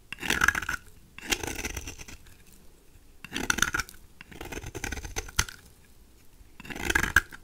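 A knife blade scrapes repeatedly across a dry, peach-colored solid rectangular bar of soap, shaving curls off its surface. Each stroke gives a dry, crackly, bright scraping rasp centered in the upper mids, separated by short quiet pauses.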